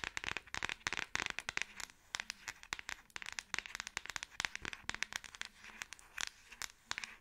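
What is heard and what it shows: A Samsung smartphone in a solid, hand-sized black plastic back case is held in both hands and tapped on the back with long acrylic nails. The result is a fast, irregular stream of sharp, dry clicks that are bright and high in tone. Each click stops almost instantly, with very little low end.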